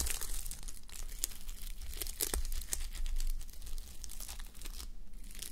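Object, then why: Fabric sleep mask covered in plastic sequins. Fingernails brush and flip the plastic reversible sequins on a fabric sleep mask resting on a white mannequin head. The result is a steady, crinkly rustle dotted with sharp, bright sequin clicks over a faint low rumble.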